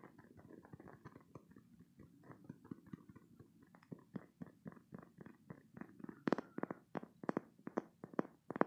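A green spiky silicone stress toy is gripped in both hands, squeezed, and its spikes scratched with fingertips and short nails. Soft, rubbery squelching and dry, scratchy ticks repeat in a quick, uneven rhythm, growing louder and sharper in the last few seconds with brief bright clicks.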